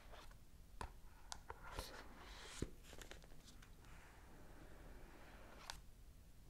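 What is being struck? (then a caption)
Small rigid cardboard box. Long acrylic nails tap the front of a small, rigid, full cardboard iPhone 14 Pro box held upright in the hands. Quiet, sharp, dry clicks land at uneven intervals over a soft, steady rustle, each dying away almost instantly.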